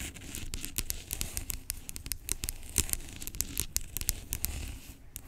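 Long acrylic nails tap and scratch the label of a large, hollow, blue-labelled plastic pump bottle lying on its side. Rapid, sharp clicks with bright edges ride over a soft, low hollow body and a dry scratching texture, each tap dying away almost instantly.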